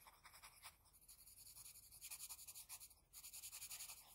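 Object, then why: Graphite pencil on paper sheet. A wooden HB pencil's graphite tip makes rapid, short scratching strokes on a flat white sheet of drawing paper while shading an eye. The result is a quiet, bright, hissy scratching that pulses in quick, uneven bursts, with a brief lull near three seconds before the strokes pick up again.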